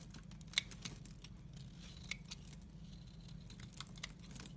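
A utility-knife blade scrapes across a solid, dry teal soap bar, shaving off crumbly dry flakes. It makes a bright, dry scratching and crinkling sound with a few sharper clicks, over a steady low hum.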